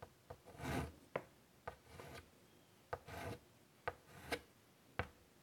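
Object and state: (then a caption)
Chalk on a chalkboard. White chalk is dragged and scratched across the surface of a large wooden-framed chalkboard lying flat, drawing lines. Quiet, sharp chalk taps alternate with short, dry, bright rasping strokes.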